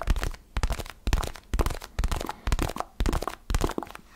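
A small, solid orange foam basketball stress ball is held close to the mic and tapped and scratched with fingertips and nails. The result is a steady run of short, muffled, crunchy scratching bursts about twice a second, each with a deep low thump underneath, and short quiet gaps between them.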